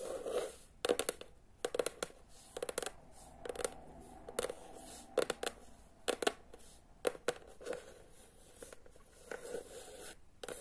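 Fingernails scratch along the spine of a teal hardcover book, then tap and scratch its cover. Quiet, dry scratching runs underneath sharp, short taps that come at an uneven pace. The sound sits in a mid-low range with little deep bass, and each tap dies away almost instantly.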